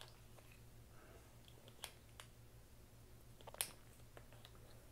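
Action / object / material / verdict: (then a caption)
strike / plastic poker chips / plastic / none. Small solid green plastic poker chips are handled over a chip tray, with fingers stacking and clicking them together and dropping them into the tray's slots. Brief, sharp, bright clicks sound irregularly against a quiet background with a steady low hum, and one louder clack comes near the end.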